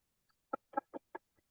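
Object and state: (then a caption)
Frying pan knocked on its underside. A metal frying pan is turned upside down and knocked on its underside. Four short, dry knocks land about a fifth of a second apart, each with a mid-range tone around 830 Hz that dies away almost instantly, with fainter taps before and after.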